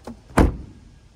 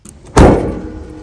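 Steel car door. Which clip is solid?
The first.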